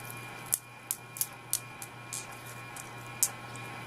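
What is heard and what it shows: A pair of thrifted napkin rings, heavier than acrylic, are tapped to tell whether they are glass or acrylic. A series of short, bright, high-pitched clinks die away almost at once over a faint steady hum. The sound shows the napkin rings are glass, not acrylic.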